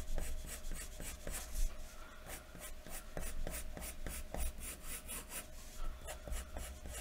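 A wooden graphite pencil, held in the fingertips, is scratched across a large, thin white paper sheet lying flat on a wooden desk in short shading strokes. Each stroke makes a dry, bright scratch over a steady low hum. The result is a quiet, rhythmic shading sound.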